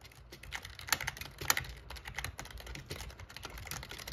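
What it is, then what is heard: Plastic gaming keyboard being typed on. Fingertips type on the plastic keys of a backlit black plastic gaming keyboard, giving a steady run of quick, bright clicks and clacks. Two louder key strikes stand out near the start, over a faint low hum.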